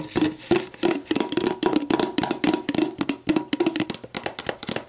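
Long black nails tap and scratch an empty, clear plastic sports drink bottle lying hollow on its side, working over the label and the ridged bottom. A fast, uneven run of short, dry clicks, each with a hollow low-mid thunk, mixes with bright scratchy rasps. Each tap dies away almost instantly.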